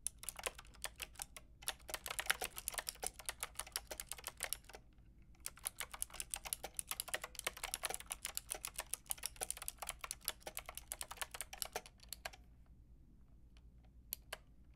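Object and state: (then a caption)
Plastic mechanical keyboard typing. Long painted nails and fingertips type on a white-pink backlit mechanical keyboard with round plastic keycaps. Rapid, bright, clicky key taps come in dense bursts, with a brief pause near the middle. The typing thins to a few scattered taps at the end.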